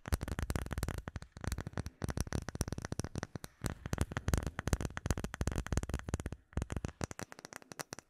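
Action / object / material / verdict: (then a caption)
tap / acrylic plate with embedded bubbles / acrylic / none. A solid, clear rectangular acrylic plate with an embedded bubble pattern is tapped and scratched with fingernails. The result is a long run of rapid, dry clicking taps with a low thud and very short ring, broken by a few brief pauses.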